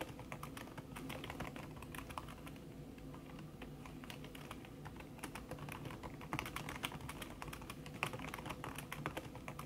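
Fast typing with fingertips and long red-painted nails on a thin backlit aluminium keyboard whose plastic keys sit under a red silicone skin. It makes a dense, continuous stream of soft, muffled taps and clicks over a low hum, with a few sharper nail clicks standing out.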